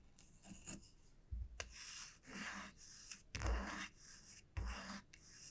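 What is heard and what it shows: A solid light-wood wide-tooth comb, lifted slightly and held in both hands, is scratched and rubbed along its body and teeth by long nails. The result is a series of bright, raspy scratching bursts in an uneven rhythm, with soft low thumps from handling.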